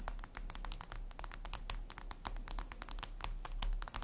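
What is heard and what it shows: Long red nails tap quickly and repeatedly on a flat, glossy black glass surface, likely a tablet screen. The sound is a dense run of crisp, bright clicks with very short decay over a steady low hum.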